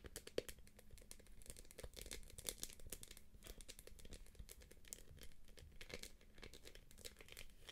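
Long acrylic nails tap and scratch the quilted surface of a small, light-blue, empty-looking purse made of soft PVC jelly plastic with a gold clasp. The result is a quiet, continuous stream of dense, crinkly clicks and scrapes, with bright, sharp taps layered over a soft low rumble.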